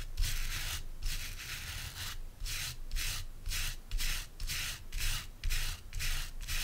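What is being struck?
Wooden brush with stiff natural bristles.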